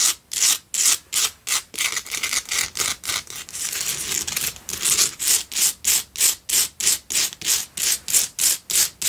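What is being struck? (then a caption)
Himalayan salt candle holder. Fingertips and long nails scratch and rub a cylindrical pink Himalayan salt single candle holder. Quick, bright, gritty scraping strokes repeat about three times per second, with no low end. Midway they blur into a brief continuous rub before the strokes return.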